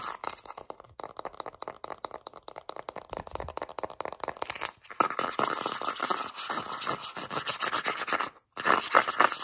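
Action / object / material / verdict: scrape / plastic petroleum jelly jar / plastic / none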